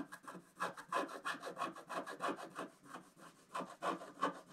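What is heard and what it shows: A wooden stylus scratches across various areas of a flat scratch art sheet with a black coating, finishing at the sheet's lower edge. About fifteen short, dry rasping strokes repeat at roughly three per second in an uneven rhythm, with a scratchy mid-range tone around 1 kHz and little low-end.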